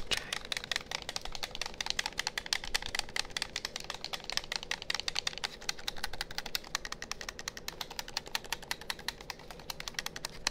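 A hollow, hand-sized black plastic gamepad is held in front of a binaural microphone while thumbs and fingers rapidly press and click its buttons. The result is a fast, steady stream of dry, bright plastic clicks with almost no ring, running throughout over a faint low background.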